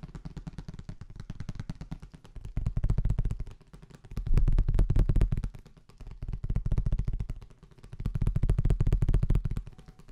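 A thin, flat, hollow transparent blue plastic folder is held up close and rapidly tapped and handled with the fingertips. It gives dense, quick, drum-like taps that are mostly low and thumping. The taps swell louder and softer in waves.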